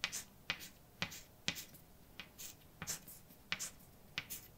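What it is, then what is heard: Chalk writing on a blackboard. A hand holding white chalk writes letters on a large, dark, flat, solid chalkboard. Short, bright chalk taps and scrapes come in an irregular series of quick strokes over quiet low background noise, each dying away almost at once.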